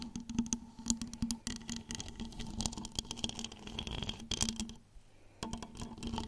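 A large cylindrical flameless LED pillar candle with a wax-like outer shell, lit and glowing orange, is held upright in both hands while long acrylic nails tap and scratch across its side and top. Quick, dry taps and bright scratching come in a dense, fast stream over a steady low hum. The sound briefly drops quieter just before the final second of rapid tapping.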